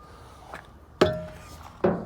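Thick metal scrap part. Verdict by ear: Steel.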